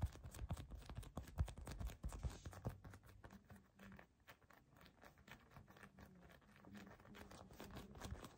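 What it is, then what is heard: Foam squishy cookie toy being squeezed. A solid, soft yellow foam squishy cookie toy is squeezed and gripped tightly with both hands, fingertips and short nails pressing into it. Rapid, irregular soft taps and faint scratchy crackles are heard, with dull, low-heavy thuds. The sounds are louder in the first few seconds, then settle into a quieter, steady patter.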